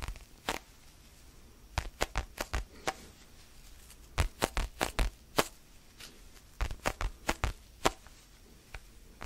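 Fingertips scratch and tap a small, solid orange foam basketball stress ball held close to the mic. Short, dry, broadband taps with soft low thumps and bright edges come in irregular clusters between quiet, faint scratching. Each tap dies away almost instantly.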